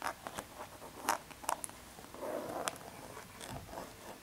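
Long red nails scratch and rub along the front and edge of a small, hollow, printed cardboard tea box with an embossed foil pattern, held in the hand. Soft, dry scraping and rasping runs throughout, broken by a few sharper, brighter scratches that stop quickly.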